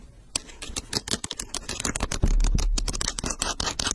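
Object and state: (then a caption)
Leather sneaker. Long nails scratch and tap the upper and sole edge of an empty, hollow pink leather low-top sneaker with a gum rubber sole, held close to the mic. Rapid, irregular bright clicks and scrapes blend with soft low thumps, and a louder, fuller knock lands near the middle.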